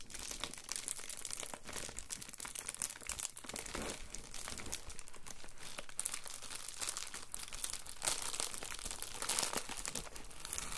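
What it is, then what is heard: Plastic bubble mailer. A letter-size padded Amazon Prime poly bubble mailer holding a small item, an iPhone charger, is held, then pressed and rubbed flat on a counter with fingertips. This produces a steady, dense, bright crinkling and crunching with quick, dry crackles and no ringing.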